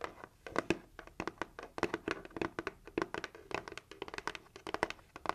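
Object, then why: Cardboard gift box. Long acrylic nails tap quickly on the lid of a closed, hollow, red heart-shaped cardboard gift box. About thirty rapid, dry clicking taps are heard, each with a hollow, papery body around 320 Hz and a bright nail click on top. Every tap dies away almost instantly, with no ringing.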